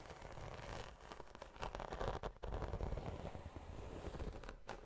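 Long nails scratch and tap across the textured scales of a large black glossy croc-embossed faux leather tote. The result is a steady, dense rustling scrape with a low, rumbly body and little brightness, broken by a brief dip in the middle.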